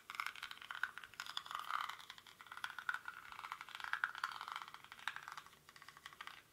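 Fingernails scratch the weave of a small, hollow woven rattan or reed basket held in both hands, with its contents not visible. The result is a quiet, dense run of quick dry scratches and light rattling, centered in the mid range with a bright, hissy top and no low end.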